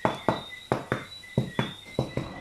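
A home-baked organic bread loaf, just out of the oven after 40 minutes at 220°C, is tapped eight times to check that it is done. Each tap gives a short, hollow knock that dies away quickly. The loaf sounds hollow, and a cut confirms a nice crumb, so it is fully baked.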